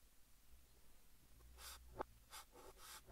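Fingertips hold a yellow chalk stick and write text on a large, flat green chalkboard, scratching it across the surface. Quiet, breathy scraping strokes rise and fade over a low background hum. Two sharp, brief taps stand out near the end.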